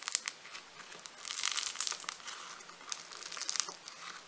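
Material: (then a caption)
Foam beads. A large, solid lump of purple foam-bead clay (floam) is squeezed in the hand with the fingers. It gives off bright, dry crinkling and crackling with sharp little pops scattered through a quiet, continuous fizz, with no low end at all.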